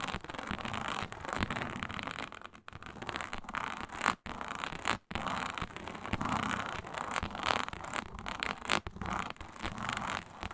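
Long nail tips scratch lightly across a flat, iridescent faux snakeskin mat of embossed reptile-pattern synthetic leather. The result is a continuous dry, rasping scrape with dense rustling texture, broken by a few brief silent gaps.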